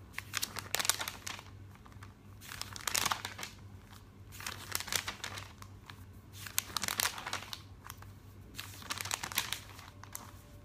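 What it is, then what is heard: Glossy paper catalog pages. Fingertips with painted nails smooth, rub and turn the thin glossy pages of a thick printed catalog lying open on a table. Bright, crisp crinkling and rustling comes in repeated waves a couple of seconds apart, with quieter paper brushing in between over a faint steady low hum.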